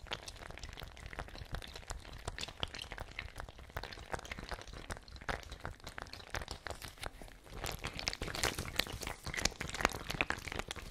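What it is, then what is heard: Fabric ice bag with water. A fabric ice bag with water inside is swung, shaken and squeezed by hand, producing a dense, irregular stream of quick crinkly crackles and soft sloshing. The sound stays busy and bright throughout and grows louder and sharper in the last few seconds.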